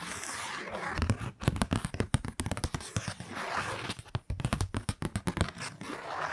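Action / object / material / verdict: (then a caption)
scrape / kraft paper card scraped with fingernails / paper / none. Long nails scrape along the surface of a kraft-paper Christmas card held close to the mic. The result is a rapid series of short, dry, scratchy strokes with a soft papery hiss between them and a strong low-end rumble from the close handling.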